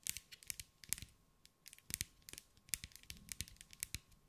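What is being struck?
Glass mosaic ball tapped with fingernails.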